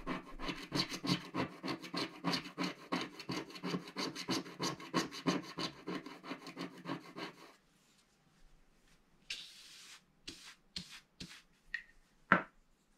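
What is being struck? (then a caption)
Black-coated scratch-art paper scraped with a wooden stick. A thin wooden stick held in the fingers scrapes a black-coated scratch-art paper page in a mandala book lying flat on a table. About seven seconds of quick, steady back-and-forth scratch strokes give a dry, raspy texture. After a short pause, a few separate, sharper strokes follow.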